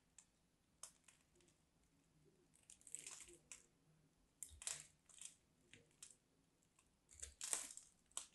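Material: Soap.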